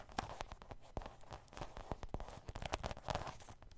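Long green nails scratch and tap the soft surface of a medium grey faux suede handbag with zippers, held up close. Quiet, muffled taps come in quick, irregular succession over a soft scratchy brushing. The taps are dull and low, with almost no ring.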